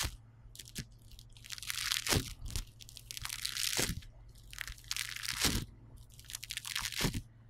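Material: Polystyrene beads.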